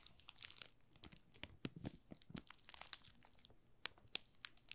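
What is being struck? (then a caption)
Thin plastic film wrapped around a bar of soap. A solid, palm-size green olive Marseille soap bar in a thin clear plastic film is held in both hands while fingertips rub and pinch the loose film to make it crinkle. The result is a quiet, dry run of bright, crackling crinkles made of about twenty short, sharp snaps that die away instantly, with little low end.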